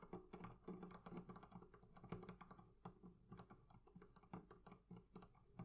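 Fingers tap rapidly on the leather covering of a barrel chest, producing a steady stream of soft, dull, low-pitched taps. Each tap dies away almost at once, with little brightness.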